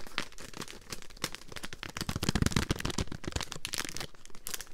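A full, small roll-shaped pack of Polo spearmint mints in a crinkly printed foil-paper wrapper is held in both hands, then crinkled, squeezed and tapped with long green nails. Dense, bright crackling and crinkling comes with sharp, short ticks and soft low thumps. It swells to its loudest near the middle and stays busy to the end.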